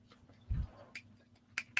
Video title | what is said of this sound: Contemplating Sustainability with a 9 Year Old | so you can hear that it sounds like plastic. Yeah, it totally sounds like plastic.